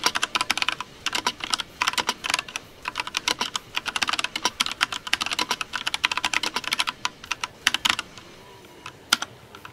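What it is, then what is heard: Plastic mechanical keyboard. Fingertips of both hands rapidly type on a compact mechanical keyboard with pastel plastic keycaps. The result is a dense run of short, bright, clacky key taps with almost no low end and very little ring. Near the end the typing thins out to a few scattered taps.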